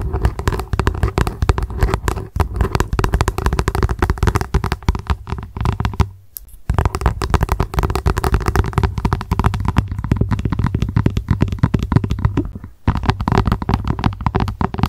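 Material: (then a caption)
Plastic. Long acrylic nails tap and scratch fast on a translucent, hollow plastic lunch box turned upside down. The result is a dense, rapid stream of short, dry clicks with a hollow, low-heavy thud. The tapping pauses briefly around 6 seconds and again near 13 seconds.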